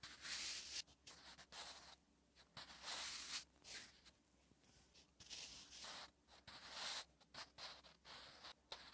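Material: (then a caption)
Paper. A sharpened wooden graphite pencil is drawn across a thin, flat, lined page of a spiral notebook while writing Korean letters. Bursts of bright, dry scratching come in irregular short strokes with brief pauses between them.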